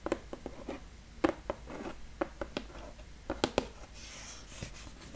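Fingertips and nails tap and scratch the lid of a large, flat brown cardboard box lying on a table, hollow with contents inside. Eleven short, dry, papery taps sound apart, with a low-mid knock around 550 Hz and soft scratching between them. Near the end, a brighter, hissier scraping takes over.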